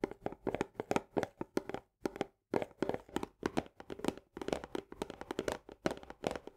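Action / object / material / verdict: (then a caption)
tap / paperboard canister with plastic lid / paperboard / none. Long nails rapidly tap the rim of the green plastic lid and the upper wall of an Orzo Bimbo barley paperboard canister, first with one hand and then with both. The result is quick, dry, hollow clicks with a tone around 420 Hz that stop almost instantly, with brief pauses around two seconds in.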